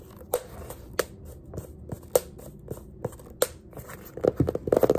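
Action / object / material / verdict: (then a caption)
scrape / small hardcover paper sketchbook / paper, card / none. Fingers rub and scratch the cover and page edges of a small yellow hardcover paper sketchbook with a pink page block and an elastic band. Sharp, dry scratches and taps sound at intervals over a faint background hiss. They quicken into a dense flurry of crisp scrapes at the end.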